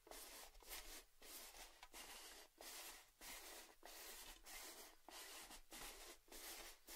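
A hollow, red cylindrical metal Baileys gift tin, standing and tilted, has its rim and top tapped and scratched with fingertips and nails. The result is quiet, bright, hissy scratching strokes in a loose repeating rhythm of short bursts separated by brief pauses. There is only a faint metallic ring.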